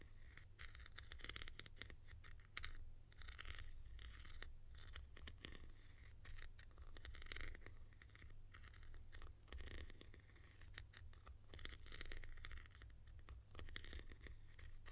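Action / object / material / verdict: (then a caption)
scrape / hollow plastic cap / plastic / none. Long nails tap and scratch the textured top of a tall, hollow blue plastic cap with a white grille, held in one hand. Dense, quiet scratching and crackly scraping with quick clicks runs throughout, with a bright rasp centered near 1.9 kHz over a steady low hum.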